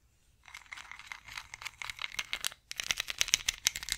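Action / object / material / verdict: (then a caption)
scrape / ridged wooden massage roller / wood / none. Long nails scratch along the ridges of a long ridged wooden massage roller held diagonally. After a brief silence, a dense, bright scratchy crackle rattles on, pauses for a moment, then returns as sharper, crisper clicking ticks. The sound is high and dry with almost no low end.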